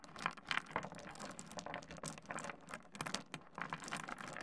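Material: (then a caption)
Stone. Fingertips rake and shuffle a pile of small solid pebbles spread on a wooden desk. The stones give a dense run of quick, bright clicks and rattles as they knock together and against the wood, with brief louder bursts between softer, continuous shuffling.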